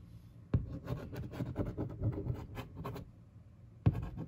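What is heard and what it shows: A fingertip and long nail trace over the printed text and image on a large, hollow, upright printed cardboard box for a 24-inch monitor. The result is quick, soft scratchy strokes with a low, boomy body from the hollow box. Two sharper taps stand out, one near the start and one near the end.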